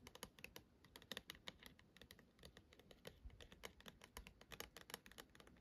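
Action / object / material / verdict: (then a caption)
tap / small plastic dome night light / plastic / none. Long acrylic nails tap and scratch quickly across a small, hollow, dark plastic dome star projector night light that is lit purple. The result is a dense run of sharp, bright clicks with very little ring, over a faint low rumble.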